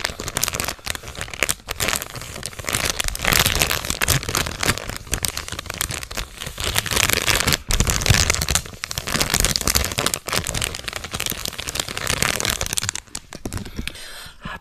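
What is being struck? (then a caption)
Metallized plastic snack bag. A full, medium-sized Cheetos chip bag made of metallized plastic film is held up and crinkled and shaken by hands and fingertips. Dense, bright crinkling and crackling runs almost continuously, with a few brief pauses, before it eases off at the end.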